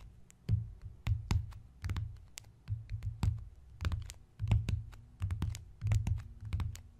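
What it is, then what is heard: Embossed leather notebook cover. Fingertips tap and scratch across the closed, brown, floral-embossed leather-look cover of a notebook. Dull, low thumps centered around 110 Hz mix with brief, bright scratchy clicks in an irregular rhythm, and each sound dies away quickly.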